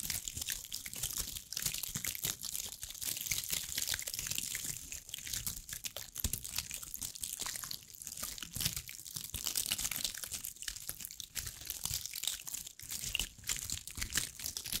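Long acrylic nails scratch over a hand-sized, ball-like cluster of small dried brown pine cones with a rough, woody, scaled surface. The result is a steady, dense stream of bright, dry crackling and scratchy clicks lasting about fifteen seconds, with very little low end.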